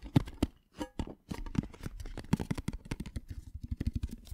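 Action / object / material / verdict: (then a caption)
tap / small printed metal tin box / tinplate / none. A small, hollow, patterned printed metal tin box is held close and rapidly tapped with fingernails. A fast run of short, dry clicks and taps with a low hollow body comes through, each dying away almost instantly, with quieter gaps between bursts.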